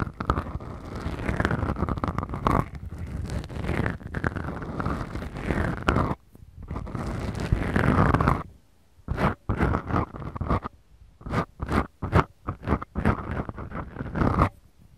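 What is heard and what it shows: Long acrylic nail tips scratch two small, soft, porous black foam windscreens on the mics of a Tascam recorder. The result is a deep, muffled, low-heavy scraping rumble. It runs almost continuously for about eight seconds, then breaks into short separate scratching bursts with quiet gaps between them.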